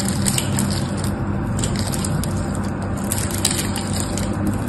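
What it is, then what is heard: Bar soap carved with a knife. A utility knife carves crumbly flakes off the edge of a solid pink and white striped bar soap held in the hand. A steady, dense crunching and scraping runs throughout, heavy in the low end with bright crackly ticks on top.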